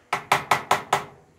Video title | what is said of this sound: Em gửi anh video BL súng côn xoay 260k | Em gõ vào cái thanh thanh sắt này. Đó, bằng kim loại.